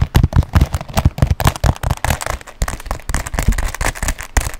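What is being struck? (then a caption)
Quilted leather handbag. Fingernails tap quickly across a black quilted leather handbag. The result is a rapid, uneven patter of short, dull thumps with soft bright clicks on top, each tap dying away almost at once.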